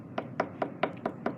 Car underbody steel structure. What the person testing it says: if i hit something that is solid metal sounds solid